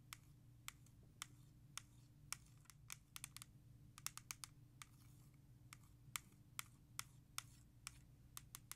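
Long nails tap and scratch the back cover of a single hollow plastic CD jewel case of *Thriller*, held in the hand. About 25 sharp, bright, dry clicks land at an irregular, quick pace, some in close clusters, each dying away almost instantly. A faint low steady hum runs underneath.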